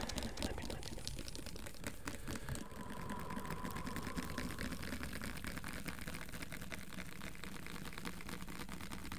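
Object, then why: Plastic jar of peanut butter. A medium cylindrical plastic peanut butter jar with a paper label and green lid, apparently full of orange-brown peanut butter, is held in one hand and tapped and scratched quickly along its side with fingertips and nails. The result is a steady, dense stream of fast, crackly taps and scrapes with a low, hollow body, and a faint tone briefly rises in the middle.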